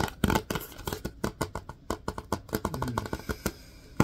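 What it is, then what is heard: Plastic wipes canister, tapped and scratched. Fingertips and nails tap and scratch the sides of a Lysol disinfecting wipes canister, a hollow plastic cylinder with a paper label and white plastic lid, contents not visible. A rapid, irregular series of short, dry taps with a hollow low body is interspersed with soft scratchy rustling. Each tap dies away almost instantly.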